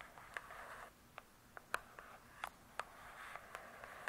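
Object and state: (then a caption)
Hardcover book. Long nails tap and scratch the glossy cardboard cover of a large, closed hardcover book. About ten short, crisp taps with almost no ring punctuate soft, papery scratching that hisses in the mid and upper range. The sound stays quiet and close, with little low end.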